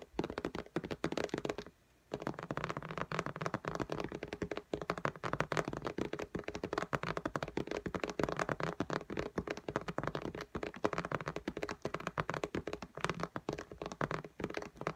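Long nails tap fast and densely on the glass screen of an iPad in a pink case lying flat. The taps are short, dry clicks with a low thunk, a brief pause near the two-second mark, then a steady stream of taps to the end.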